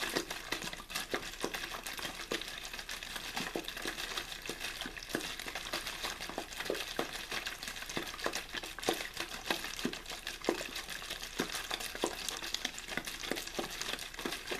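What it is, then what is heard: Empty plastic water bottle. A clear, thin plastic water bottle with a blue label, hollow and apparently empty, is held in the hand, shaken and squeezed. The plastic crinkles and crackles in a dense, bright, irregular stream of short snaps over a steady hiss. It continues at a fairly even level throughout the clip.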